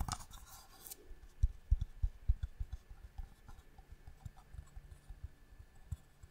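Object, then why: Small wooden box with inlay. A small, hollow wooden box with striped marquetry inlay is held in the hand and tapped with long nails on the lid and sides. After a brief bright scratchy rustle at the start, a quiet, irregular series of soft, dull, low knocks follows, each dying away almost instantly with no ring.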